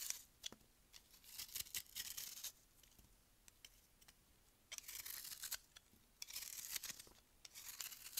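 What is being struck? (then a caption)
Frozen melamine foam block. A metal utility-knife blade carves and scrapes a solid block of frozen white melamine foam magic eraser held in one hand, as crumbs fall onto a white table. Quiet, bright, crisp scraping and crunching comes in several bursts with sharp ticks, separated by near-silent pauses.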